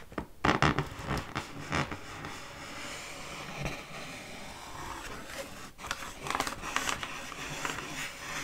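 Long fingernails scratch and scrape the taut metallized film of a round, Frozen-themed mylar foil balloon, about 40 cm across, hollow and inflated, held in one hand. Loud, bright crinkly scratches come early, then a quieter, steady rasping drag, and sharper scrapes return toward the end.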